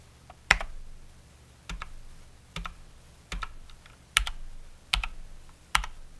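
A Cox Dauntless mechanical keyboard with Cherry MX Brown switches and plastic keycaps is pressed key by key with one fingertip, including the spacebar and Enter. There are seven well-spaced presses, each a sharp, bright clack with a low thud and a quick rattle of the return. Each stroke dies away almost at once into a faint background hum.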